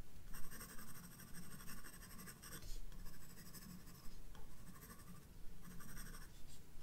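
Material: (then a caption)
Paper. A graphite pencil makes repeated sketching strokes on the flowers drawn on a white paper page of a spiral-bound sketchbook. The clip is a steady, quiet scratchy rasp with bright, hissy bursts as each run of strokes starts and stops, over a low, constant rumble.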